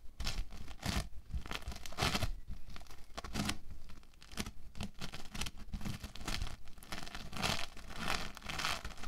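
A large solid lump of orange foam bead clay is squeezed, pulled apart and kneaded by both hands with the fingertips, then pressed flat. Repeated bursts of bright, crackling, tearing crunches ride over soft low thuds, rising and falling in quick irregular waves throughout.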